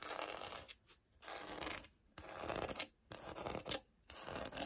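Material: Laminate.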